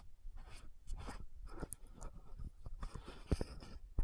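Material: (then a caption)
Plastic. Long nails tap and scratch the gold metallic cap of an orange-red frosted plastic lotion bottle. Soft, dry scratching runs through the clip, broken by light, irregular taps, with two sharper clicks near the end.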